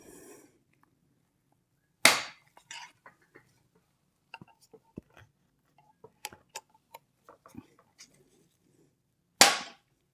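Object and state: Loosened suspension fork lower legs, slightly hollow knock.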